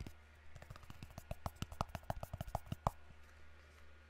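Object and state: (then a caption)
Cardboard box tapped. A small, hollow, white rectangular cardboard product box, held up near the microphone, is tapped with fingertips and nails. About twenty quick, short, hollow knocks come in an uneven, irregular rhythm, with a steady low hum underneath.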